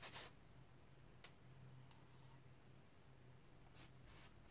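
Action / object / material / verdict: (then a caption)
scrape / bristle brush on stretched cotton canvas / cotton canvas / none. A flat bristle brush is swept in strokes across the lower area of a large stretched cotton canvas on an easel, its taut fabric over a wooden frame, applying pink paint. Very quiet, brief bright scratchy swishes rise over a steady low hum, with a slightly louder stroke at the start.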